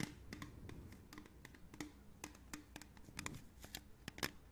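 A hollow, printed aluminium beverage can is held in the hands and tapped and scratched with long nails. The result is a quiet, irregular run of short, bright clicky taps with a faint hollow low tone, mixed with soft scratching between them.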